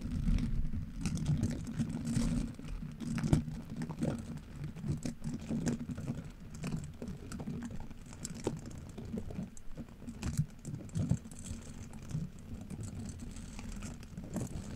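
Black-gloved hands rub and press one curved orange-pink silicone scrub brush, with long flexible bristles and a solid rubbery body, against the black metal mesh grille of a Yeti microphone so the bristles flick and scratch. The result is a close, irregular patter of soft taps and rustling scratches, heavy in low, muffled tones with little brightness.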